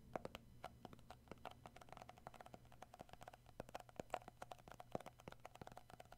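Short fingernails and fingertips tap and grip the black lid and sides of a round plastic tub of shea butter with a printed label, likely full, while turning it in hand. The result is a quiet, steady stream of rapid, dry plastic clicks and taps that stop almost instantly, with a faint hollow tone near 700 Hz and a low hum underneath.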